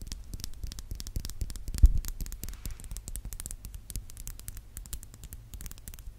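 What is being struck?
Metal mesh microphone grille.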